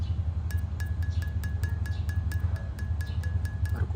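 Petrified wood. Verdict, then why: Silicified. A piece of petrified wood, fully silicified, is flicked repeatedly with a fingernail, giving a glassy, chime-like ring. About a dozen quick, evenly spaced taps sound as short bright pings over a steady low hum, showing the stone rings even from a fingernail tap.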